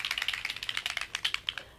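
A plastic bottle of metallic alcohol ink is shaken so the mixing ball inside rattles, because the heavy pigment separates from the alcohol ink binder. The result is a rapid series of bright, dry clicks with almost no low end, which fade out toward the end.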